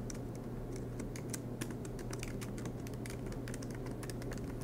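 Fingertips type continuously on the black plastic keys of an aluminum MacBook Pro laptop, making a rapid stream of soft, bright clicks. The clicks sit over a steady low hum, and the overall level stays quiet and even throughout.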